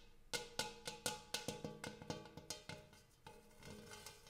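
Fingertips and nails tap the rim and dimpled interior of a large, shallow, empty gold hammered metal bowl. The result is a quick, irregular series of light metallic taps, each ringing with a tone near 500 Hz and bright, shimmering overtones that fade fast. The taps grow softer and more scattered toward the end.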